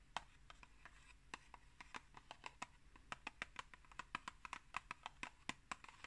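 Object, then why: Cardboard box. Long green nails tap and scratch a tall, rectangular, hollow Pukka tea box made of printed cardboard, held upright. A quiet, uneven run of short, dry, bright clicks and taps dies away almost instantly, with soft scratching between them over a faint low background hum.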